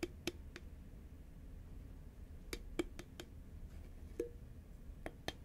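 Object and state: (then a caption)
Cardboard snack tube tapped with nails. A green Pringles cardboard can is held upright while fingertips and long nails tap its side, giving ten short, dry clicks with a hollow tone of about 350 Hz. The taps come in small clusters spread across the clip over a steady low rumble, and each dies away almost at once.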